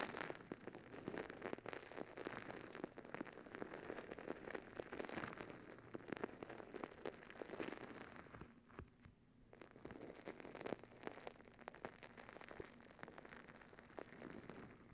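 Long nails scratch over the bumpy surface of a soft rubber squishy stress ball filled with gel beads, held close to the mic. The result is a dense, rapid crackling patter that sounds almost like rain, easing briefly around the middle before picking back up.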